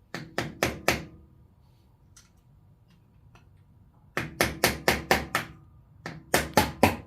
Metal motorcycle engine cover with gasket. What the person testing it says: soon as you hear the different noise it just came loose